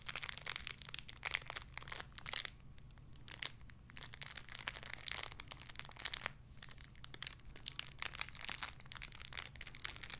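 A small clear crinkly plastic bag holding a soft pink squishy toy is crinkled with fingertips and briefly held in one hand. It makes dense, bright, crackly rustling in quick bursts, with short quieter pauses, over a low steady hum.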